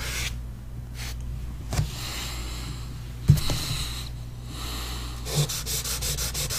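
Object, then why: Pastel stick on a paper sheet. A pastel stick held in the hand rubs and scratches short strokes around the iris on a large flat paper sheet resting on a board. Soft, dry scraping with a few sharper scratches rides over a steady low hum, ending in a quick run of short, bright strokes.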